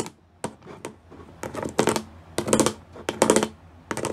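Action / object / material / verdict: tap / studded plastic panel / plastic / none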